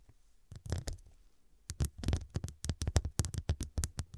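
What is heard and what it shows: Long dark nails tap and scratch the square faceted glass studs covering a soft, filled medium fabric cushion. A few soft taps come first, then a brief pause, then a quick run of short, muffled, low-heavy taps with bright clicking tops that die away almost instantly.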